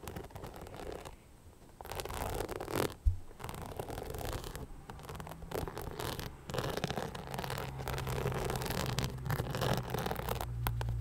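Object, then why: Rhinestone-covered knit sneaker. Long nails scratch the crystal-covered upper and the sole of an empty beige rhinestone-covered knit sneaker held close to the microphone. Dense, irregular scratching and rasping fills the clip over a low rumble, broken by one sharp knock near the three-second mark.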